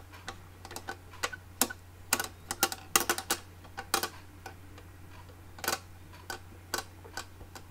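A small, hollow, closed red hard plastic makeup case with a ridged, embossed surface and a metal clasp on top is held in both hands and tapped and scratched with long manicured fingernails. The result is an irregular run of short, sharp, bright clicks and taps, some in quick clusters, over a faint, steady low hum.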